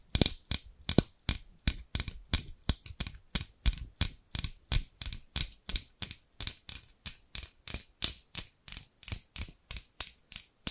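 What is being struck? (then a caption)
Scissors with plastic handles and steel blades. Long pink nails tap the amber plastic handles of a pair of large scissors with steel blades, held by the blades. There are 37 short, dry, bright clicks with a low thump, in a quick, steady rhythm that never lets up.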